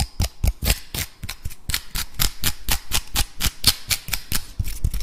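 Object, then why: Woody pine cone. A dry, brown, woody pine cone, solid and about palm-sized, is held close to the recorder while fingertips and nails scratch and rub quickly across its scales. About twenty short, dry, crackling scrapes follow one another at an uneven pace, each a brief broadband burst with a low thump and a bright rasp that stops almost at once.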